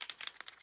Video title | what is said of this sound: Shine a light on antiSemitism | there's a little ball bearing that kind of moves back and forth forth and shakes up the paint in there